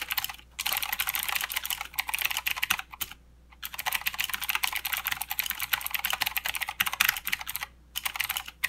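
Both hands type with their fingertips on a full-size mechanical keyboard with plastic keycaps and blue clicky switches. Fast, bright, crisp clicks come in dense bursts with almost no low end. The typing stops briefly near the start, in a longer gap around three seconds, and once more near the end.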